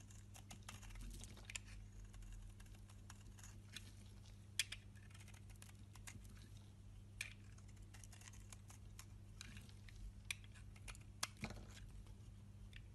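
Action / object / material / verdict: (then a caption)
scrape / bar of soap cut with a blade / soap / none. A box-cutter blade scrapes and cuts the edge of a solid rectangular bar of green-and-white striped soap held in the hand, sending chips falling. Quiet, brief crisp scrapes and crackling clicks sound irregularly over a steady low hum, with a few sharper, brighter snaps standing out.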